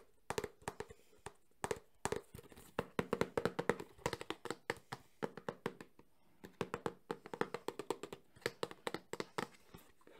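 Fingertips and nails tap fast on the front and side of a small, closed, hollow cardboard Samsung phone box. Dozens of quick, dry, hollow knocks come in rapid bursts with brief pauses between them. Each knock centers on a low-mid tone around 470 Hz and dies away almost at once.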